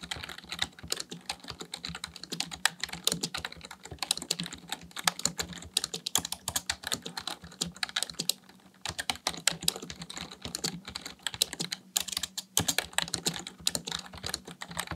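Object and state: Plastic computer keyboard.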